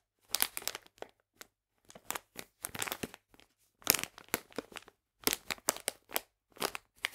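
A full, printed plastic package of polenta is squeezed and crinkled with fingertips and nails. Bright, crisp crinkling comes in short bursts and clusters separated by brief silences, with almost no low end.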